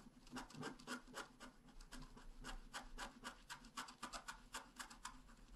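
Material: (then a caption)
Coated paper. A wooden stylus scratches a red flower into the left side of a flat, black-coated scratch art paper card held down with one hand. Quick, uneven strokes come about four times per second, each a soft, dry rasp with a bright, hissy edge. It keeps up a steady, quiet scratching rhythm throughout.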